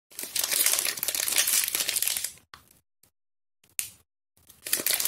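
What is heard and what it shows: A small Harmony strawberry bar soap, still in its printed plastic film wrapper with the solid bar inside, is held in both hands with long painted nails and squeezed and crinkled over an empty green plastic bowl. A dense, bright crinkling plays steadily for about two and a half seconds, then breaks into short crackly bursts separated by silences before a final stretch of crinkling.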